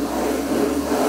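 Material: Nothing is struck.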